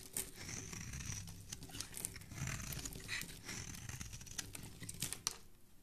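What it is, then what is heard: Bar of soap scraped with a blade. A metal blade is scraped across a solid, palm-sized rectangular green bar of soap held in fingers with long dark-painted nails, shaving off flakes. Dense, rapid scratchy strokes give a bright, crinkly hiss over a soft low rumble, with a few sharper crisp snaps standing out near the end.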